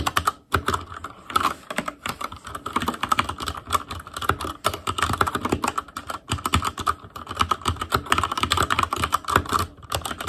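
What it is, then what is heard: Mechanical keyboard with plastic keycaps. Fingertips of both hands type continuously on an ASUS ROG Claymore Core mechanical keyboard with Cherry MX Red switches, black plastic keycaps on a metal frame, and a hollow housing with RGB backlight. Dense streams of short, dry plastic clacks run together with very little ring, centered around a clicky midrange near 1.4 kHz with a soft low thump beneath. Brief pauses break the flow near the start and around the seven-second mark.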